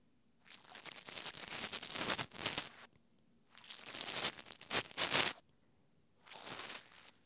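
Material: Plastic.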